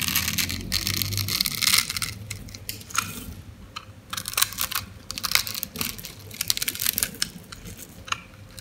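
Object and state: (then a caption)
Dry soap bar. A white, oval, solid dry soap bar held in the hand has its scored surface scraped and crumbled with a metal knife blade. This produces a run of crisp, bright, crunchy scraping bursts with dry crackle and almost no ring, and faint low rumble underneath.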